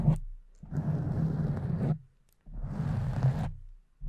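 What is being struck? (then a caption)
Foam microphone windscreen. Long acrylic nails scratch the top and sides of a soft, porous pink foam windscreen on a condenser microphone, using both hands. Muffled, rough scratching comes in long bursts separated by short silences, with a dull, low-heavy rumble and little bright hiss.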